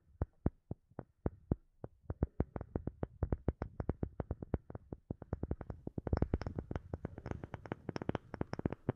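A second wooden object is tapped with a steady run of dozens of short, dry knocks. Each knock is a quick low thump with almost no ring. Over the last few seconds the taps come faster and denser, with brighter clicks.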